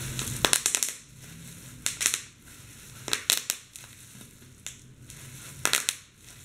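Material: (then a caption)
Plastic. Clear plastic bubble wrap is held over a keyboard while both hands squeeze and press the bubbles to pop them. Clusters of sharp, bright popping crackles come in bursts with softer crinkling between them, each pop snapping off quickly with almost no ring.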